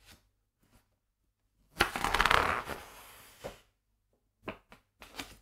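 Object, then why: Hardcover book with glossy paper pages. Fingertips turn and flip the glossy printed paper pages of a large hardcover illustrated book lying open on a wooden table. Faint soft ticks lead into a loud, bright, crinkly rustle as a page is swept over, which settles into a quieter papery hiss. A few short, crisp page flicks follow.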